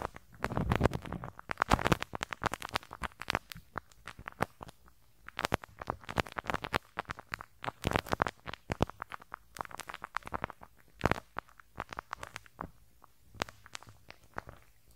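A teal rubber-bristle brush rubs the small, hollow metal mesh grille over the left capsule of a handheld stereo recorder. The result is a dense run of short, snapping, crackly bristle flicks over a low, rumbling thump, with bursts of quick strokes and brief pauses. Each pop cuts off almost instantly, with a few sharper, brighter snaps standing out.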